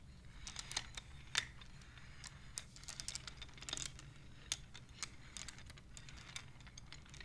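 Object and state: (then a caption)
Wooden abacus beads clicking. Hands with long nails slide colored, painted wooden beads along the rods of a wooden abacus so they click against each other. The result is an irregular stream of short, sharp, bright clicks, some louder than others, over a steady low hum.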